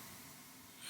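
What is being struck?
Nothing is struck.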